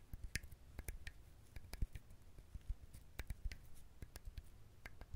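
A whole dried, fibrous husked coconut is held close to the mic and scratched and tapped with fingernails and fingertips. About fifteen short, dry taps and clicks stand out over a soft, low scratching rustle. Each tap dies away almost at once.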